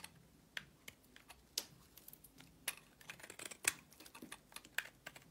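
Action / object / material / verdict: scrape / soap bar / soap / none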